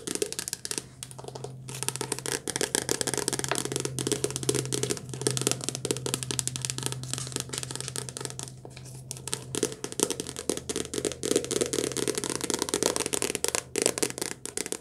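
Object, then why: Softcover paperback book with card cover. A softcover paperback book is held upright while long dark-painted nails tap fast on its glossy card cover. The sound is a rapid, dense stream of short, dry clicks with a bright, crinkly edge and no ring, over a steady low hum.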